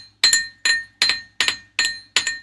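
A thick metal Christmas ornament is tapped six times on a desk to show it is metal. Each tap gives a bright, glassy clink with a clear ring near 1.8 kHz and a higher tone, fading quickly before the next tap.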